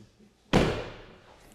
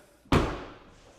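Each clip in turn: First: One broad, mid-low slam with a brief buzzy tail: a frameless car door that shuts with a plasticky rattle. Second: One deep, muffled thud with almost no rattle: a rear car door shutting firmly and solidly.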